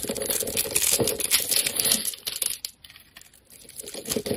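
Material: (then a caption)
Soap. A snap-off metal blade scrapes the surface of a solid oval lime-green soap bar held in the hand, shaving it into curls. The result is a dense, bright, crackling scrape with quick, uneven strokes for about two and a half seconds, a brief near-quiet lull, then the scraping picks up again toward the end.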